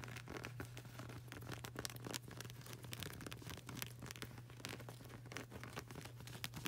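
Long burgundy nails rapidly tap and scratch the dark grey textured rubber sole of a flip-flop with a flag-print edge, the solid yet flexible rubber giving dense, crisp, bright clicks and scratchy rasps. A steady low hum runs underneath throughout.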